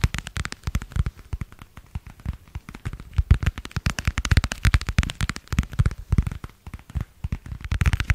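Long nails rapidly tap and scratch a translucent marbled plastic passport cover, producing a dense run of short, dry clicks with brief scraping between them. The hits crowd together with uneven loudness, each with a low thump and a quick bright tick that dies away almost at once.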